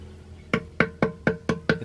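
An old Filipino clay jar (banga), dropped once and left with a small chip on its side near the base, is knocked six times to hear its sound. Each knock is a short, dry, wood-block-like tap with a mid pitch near 460 Hz that dies away almost at once, over a faint low hum.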